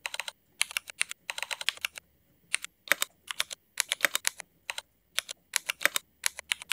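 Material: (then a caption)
ABS plastic. Fingertips of both hands type on a mechanical keyboard with black Cherry MX ABS plastic keycaps. Bright, sharp clacks come in quick bursts separated by short pauses. Each keystroke is crisp and dry, with almost no low end and very little ring.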